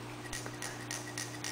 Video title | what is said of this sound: 4500PSI Ninja tank review | if you shake it you're gonna hear it if it's not filled